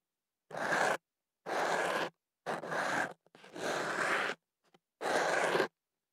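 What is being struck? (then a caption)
Kenaf paper tube around a microphone, scratched with a thin pick. A thin ear pick scratches inside a hollow white kenaf paper tube wrapped around a microphone. Five long, dry, papery scratching strokes, each about half a second to a second, are separated by short silences, with a couple of faint ticks between them. The sound is broadband and bright, with a steady hiss centered around 1.6 kHz and little low end.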